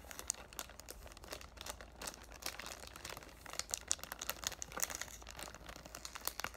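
Fingertips and short dark nails crinkle and rub the loosened clear cellophane wrap near the top of a cardboard "Thank U Next" perfume box held in both hands. A dense, steady stream of bright, crisp crackles and snaps comes through, with sharper pops toward the end over a faint low hum.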